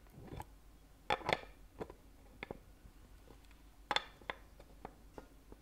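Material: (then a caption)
Plastic. Fingernails tap the lid of a small, clear, rigid plastic Ferrero Rocher box filled with gold-foil-wrapped chocolates, held in one hand. Eight quiet, irregular taps are heard, each a short, dry, bright click with a hollow plastic tone and no ring.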